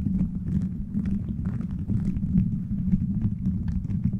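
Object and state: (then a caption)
Plastic bead microphone cover being scratched and tapped. A beaded plastic gummy-bear cover on a microphone is scratched and tapped by fingertips and nails. The result is a steady, dense low rumble with a hum near 150 Hz, dotted with quick, brief clicks and faint bright ticks.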